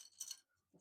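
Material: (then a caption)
Lac. Lac bangles from Rajasthan are clinked together, giving three quick, bright, dry chinks with almost no ring. The sound is offered as proof that they are genuine lac.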